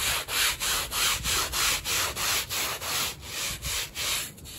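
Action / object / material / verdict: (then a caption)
scrape / woven textile rug / textile / none. A gloved hand scrubs a small, flat, wet and foamy woven rug, muddy from use, with a handheld bristle brush in quick back-and-forth strokes. Each stroke makes a bright, wet scratching rasp, about three per second, with brief dips between strokes and little low-end weight.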